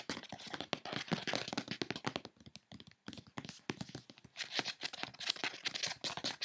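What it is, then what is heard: Cardboard box. Fingertips and long nails tap rapidly on the top of a closed brown corrugated cardboard box with a Mango print and a label, then scratch along its side panel. The result is a dense run of dry, bright clicks and taps with almost no ring, turning into harsher, hissy scratching toward the end.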